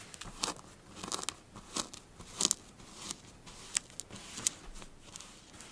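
Long blue fingernails of both hands rake and scratch across flattened pink kinetic sand. The result is an irregular run of dry, crunchy, crackling scrapes and sharp little clicks, mostly bright and high with almost no low end.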